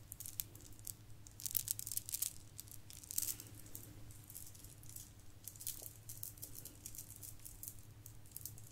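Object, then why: Plastic bead garland. Several strands of shiny gold plastic bead garland hang from one hand and are shaken while the other hand's fingertips brush through them. The result is a dense, bright clicking rattle of many small plastic beads, with louder bursts around 1.5–2.3 seconds and near 3.2 seconds, over a steady low hum.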